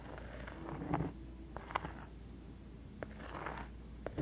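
Long acrylic nails scratch and tap the surface of a round, thin, flat, solid cork coaster held up by the microphone. Soft, dry scratching runs under a low, steady hum, broken by several short, sharp taps that die away almost instantly.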